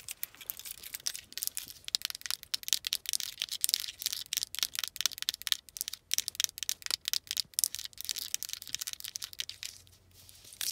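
A small plastic car remote key fob with rubber buttons and an attached metal key ring and charm, resting on a fabric-covered knee, is tapped and scratched on its buttons and surface by long acrylic nails. A steady stream of dense, crisp, bright clicks and scratchy rasps runs throughout with almost no low end, the key ring possibly jingling faintly.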